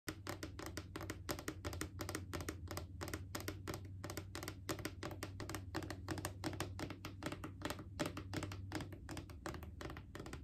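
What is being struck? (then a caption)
Hollow plastic canister. A mid-sized hollow plastic Clorox disinfecting wipes canister with a white plastic lid, held in the lap, is tapped rapidly with long acrylic nails. The crisp, short clicks come in a fast, uneven stream over a steady low hum, and each tap dies away almost immediately.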